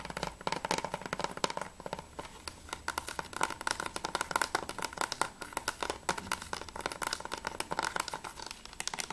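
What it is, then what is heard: Plastic game case. Fingertips and nails tap quickly on the top edge and front cover of a closed hard-plastic PS3 game case for Remember Me, held flat. The result is a dense run of short, dry clicks with a hollow tone around 1 kHz and bright edges, each dying away almost instantly.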